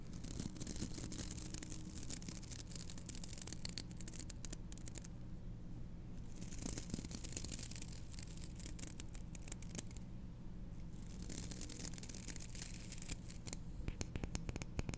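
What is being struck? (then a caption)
Hairbrush with wooden back and dense bristles. Long fingernails scratch and flick across the dense black bristles of a small wooden-backed hairbrush held in one hand. Bursts of bright, crackly bristle scratching come and go, with brief quieter gaps, over a steady low hum.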